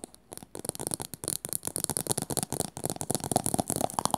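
Long nails and fingertips rapidly tap and scratch a small teal plastic cylinder with a rounded top, apparently hollow. A dense stream of short, dry clicks and scrapes carries a bright hiss, with some hollow, mid-pitched knocks toward the end.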